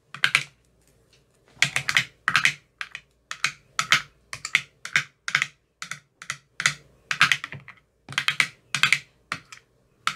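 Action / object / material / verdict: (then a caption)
tap / plastic ice cube tray with silicone cells / plastic / none. A metal rod with a white rounded tip taps the bottoms of the teal silicone cells in an empty clear plastic ice cube tray. It makes quick clusters of short, dry, bright clicks with almost no ring, separated by brief silences.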